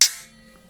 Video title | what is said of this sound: Landsknecht 'Katzbalger' Sword - How was It Used? With Windlass Example Review | Rings perfectly fine there's no vibrations no movements